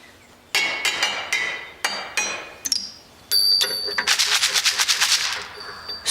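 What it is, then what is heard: Pot of buttons shaken. A pot filled with buttons is shaken, giving bright, clattering rattles: a few separate bursts at first, then a quicker run of dense rattling. It is identified as the right sound, the one with the buttons.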